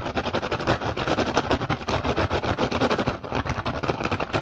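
A rattan basket is tapped and scratched quickly and aggressively, producing a dense stream of rapid, dry clicks and scrapes with very short ring. Energy sits mostly in the low mids, with little high treble and no speech.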